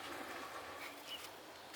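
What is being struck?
Nothing is struck.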